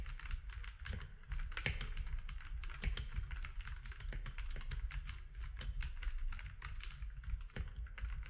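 Fingertips of both hands type on a compact grey-and-white mechanical keyboard with plastic keycaps on a desk. The result is a steady run of short, crisp clicky keystrokes with bright, quickly fading clacks over a constant low rumble.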